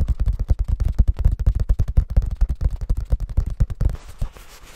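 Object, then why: Paperback book pages. A paperback book is held open with both hands while fingers rub and flip its thin paper pages. A rapid, uneven run of muffled, low thumping bursts carries on for about four seconds, then gives way to a faint, soft papery rustle.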